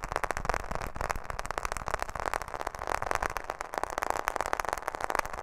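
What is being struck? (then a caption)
Smartphone in a plastic case. Long fingernails tap rapidly on the back and edges of a smartphone in a black plastic case held close to the microphone. The result is a fast, continuous stream of short, dry clicks and rattles centered in the midrange around 1 kHz, each dying away almost instantly.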